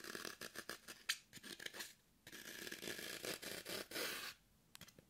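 Long nails scratch and dig into a hand-held green floral foam brick, solid and porous, producing a run of bright, crumbly scraping strokes. The strokes come in short bursts, with a brief pause near the middle and quieter scratches at the end.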